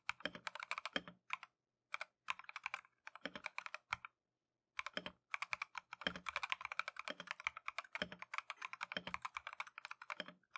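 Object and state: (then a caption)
Mechanical keyboard with plastic keycaps. A Keychron V1 compact mechanical keyboard with Tangerine switches and green and white plastic Matcha keycaps is typed on continuously with gloved fingertips. Fast bursts of bright, crisp, clacky keystrokes with short, dry attacks are broken by a few brief pauses.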